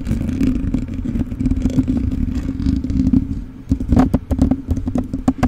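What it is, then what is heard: Metal mesh microphone grille. Fingertips and short nails of both hands scratch and rub the bare black metal mesh grille of a rhinestone-covered USB microphone with a hollow capsule head. A dense, low, scratchy rustle over a steady hum gives way, after a brief dip, to sharper, more distinct crisp scrapes and clicks.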